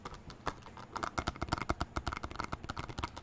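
Fingertips tap a small, hollow, translucent clear plastic box that appears empty, held close to the mic. A rapid, uneven run of short, dry clicks and taps sounds with a hollow low thump and a plastic knock in the midrange, each tap dying away almost at once.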